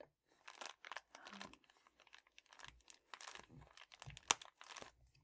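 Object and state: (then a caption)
Foil bubble mailer. A red metallic foil padded bubble mailer is scratched and pressed with a fingertip and painted nail. Quiet, bright crinkling and crunching bursts come in uneven clusters, with one sharper click near the end. Each sound stops almost at once, leaving no ring.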